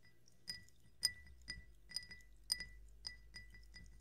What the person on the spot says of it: 炭酸音とグラスタッピング carbonated water and glass tapping